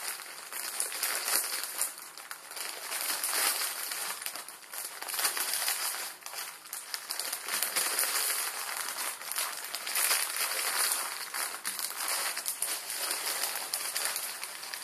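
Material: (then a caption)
Plastic film. A plastic instant ramen packet, a plastic film with noodles inside, is squeezed with both hands and then rubbed with fingertips on a table. The result is a steady, bright, dense crinkling and crackling with almost no low end, swelling and easing in irregular waves throughout.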